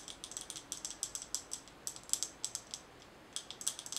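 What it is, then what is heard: Glass mason jar with metal lid. Long nails tap quickly on a glass mason jar with a gold metal lid, full of colorful small items, making bright, sharp clicks in uneven bursts. The clicks are quiet and die away almost instantly, with a short pause near the three-second mark before the tapping resumes.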